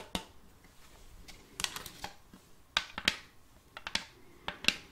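Long colored fake nails tap on the face of a round, shallow, glossy wooden serving tray with a rim, held upright and empty. Twelve quiet, sharp, bright clicks come at irregular spacing, each dying away almost instantly with little low-end body.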